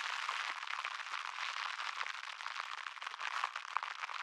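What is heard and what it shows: A small crumpled wad of thin, clear plastic cling wrap is held in the fingers beside the microphone and crinkled and rubbed between the fingertips. It makes a dense, continuous crackle of tiny sharp pops and rustles, bright and hissy with no low end, and steady in level throughout.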